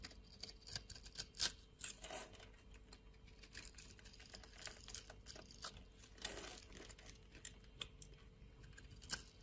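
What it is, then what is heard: Orange bar soap being cut. A hand-sized solid orange bar of soap held in the palm is scored and sliced with a metal utility knife blade. Quiet, crisp scraping and crackly cutting clicks come in uneven bursts, bright and dry with almost no ring.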